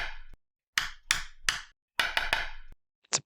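A 1920 French metal coin is tapped seven times, giving hard, bright, ringing clicks centered around 1.7 kHz. Compared with a 1920 German half mark coin, it sounds like a much stronger metal, a difference put down to France still having a viable economy.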